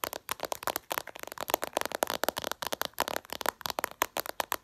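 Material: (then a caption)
Glass. Long purple nails tap rapidly and aggressively on the glossy glass screen of a smartphone lying flat. The result is a dense stream of sharp, dry clicks with a bright, mid-pitched snap. The clicks come in uneven bursts and die away at once.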